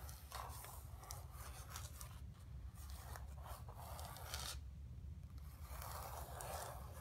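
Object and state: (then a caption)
Painted canvas panel being scratched. Long nails scratch and rub across a flat painted canvas board lying on carpet, making quiet, dry scraping strokes in bursts with brief gaps. Under the strokes runs a steady low hum.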